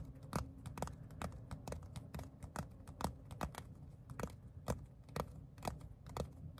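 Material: Leather.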